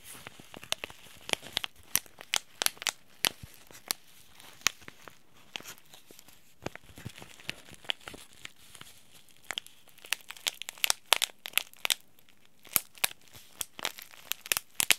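Fingertips rub and crinkle a small white Yogi Tea sachet made of paper-foil laminate, holding a tea bag. The result is a steady run of sharp, bright crinkles and crackles, each snapping off almost instantly over a quiet, hissy background, with little low end.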